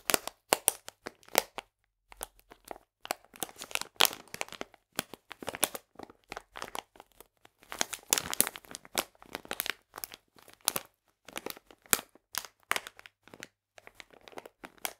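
Fingers squeeze and crinkle a full, printed plastic bag of polenta held at an angle. The result is a steady run of sharp, bright crackles and crinkles in irregular bursts, with almost no low end.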